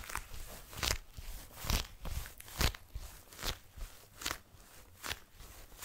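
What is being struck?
Leather jacket.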